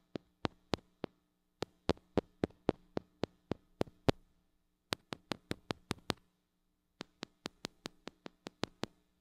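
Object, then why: Small metal microphone with mesh grille. Long acrylic nails tap and scratch on the metal mesh grille of a small gold-colored mini microphone with a metal body and hollow head, held in one hand. Thirty-one sharp, dry taps fall in four bursts with short pauses between them, each a bright click with almost no ring. A faint low steady hum runs underneath.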